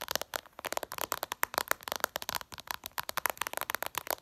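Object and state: Glass smartphone screen tapped with nails.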